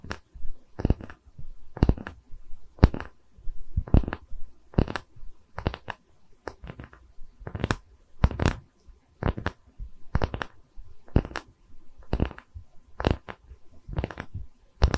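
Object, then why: Round wooden tree slice coaster. Long nails scratch the cut face of a round, solid wood tree-slice coaster with visible growth rings, held up close in both hands. Short, dry scratching strokes come in quick irregular bursts, each with a heavy low thump from the close handling and a brief bright scrape that dies away almost instantly.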